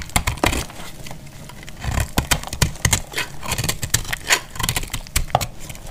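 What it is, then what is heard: Dry, crumbly soap bar being shaved. A hand-held solid bar of dried, multicolor speckled soap is cut with a box-cutter blade, shaving off crumbly pieces. Many short, dry, bright crackling snaps and scrapes come in quick succession, each dying away almost instantly over a low rumbling undertone.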